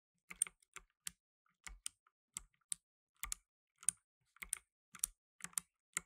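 Blue nitrile-gloved fingertips type fast on a black tenkeyless mechanical keyboard with plastic keycaps. About 17 quiet, bright, sharp clicks come in uneven bursts with short gaps between them. Each click stops almost at once, with no ring.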